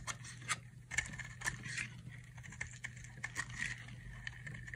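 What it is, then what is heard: Dry soap bar being carved. A utility knife carves thin sticks from the edge of a solid teal-blue dry soap bar held in one hand. Crunchy, crackling scrapes come in quick bright bursts over a faint steady low hum.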